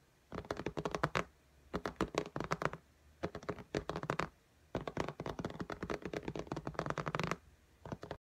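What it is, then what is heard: Tablet glass screen tapped with fingernails. Long fingernails tap and scratch rapidly on the glass screen of an iPad lying flat in a pink case. The sound comes in five bursts of quick, dry, clicky taps with very short decay, separated by brief near-silent pauses.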